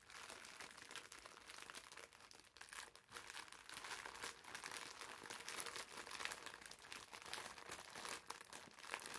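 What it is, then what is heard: Plastic-wrapped foam bath sponge. A green foam bath sponge in a clear plastic wrapper is held in the hands and squeezed and crinkled with fingertips and nails. The result is a steady stream of soft, dense crinkling and rustling with a bright, hissy top and almost no low end, broken by frequent small crackles.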